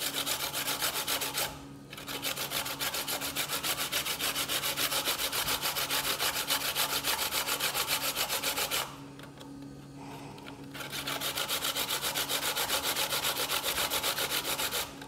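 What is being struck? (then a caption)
Coconut flesh on a stainless steel box grater. A hand rubs a small piece of solid white fresh coconut flesh against the perforated face of a stainless steel box grater resting on a bamboo board. The repeated grating strokes come quickly and steadily, making a bright, raspy scratching with brief pauses near the start and again in the middle.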